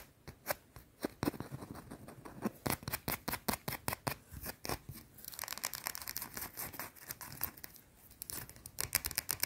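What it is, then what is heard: Soap bar scratched with nails. Long teal nails scratch and tap a round solid white soap bar held up close. Many quick, dry, bright scratches and taps come in a fast, uneven rhythm with no ring after each one. The later stretch turns into denser, hissier scratching.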